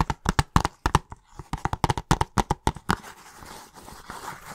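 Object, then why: Plastic video game case. Fingertips and nails tap on the cover of a hollow plastic video game case held upright and tilted, giving a quick, uneven series of short, dry, hollow clicks. The taps then give way to a continuous, brighter scratching across the cover.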